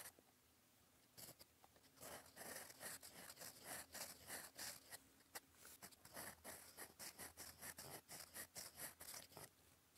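A gold metal fountain pen nib, held in the fingers, scratches across lined cream writing paper in cursive strokes. After a short quiet start, it makes a rapid, uneven run of brief, dry, bright scratching strokes with little low end. The scratches stop almost at once between strokes, at a soft level.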